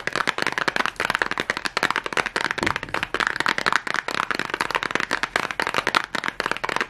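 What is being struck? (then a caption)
Small cardboard matchbox. Long nails and fingertips tap and scratch fast on a small red cardboard matchbox, likely full of matches. A rapid, continuous stream of sharp, dry clicks and crackly scratches with a bright papery rasp runs throughout, each tap dying away almost instantly.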